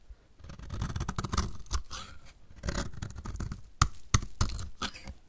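A utility knife blade scrapes and cuts a solid, partly shaved-down, pink-red painted dry bar of soap held in the hand, shaving it into crumbly flakes. Dry, gritty scraping and crackling pass in bursts with short pauses, and a couple of sharper snaps stand out near the end.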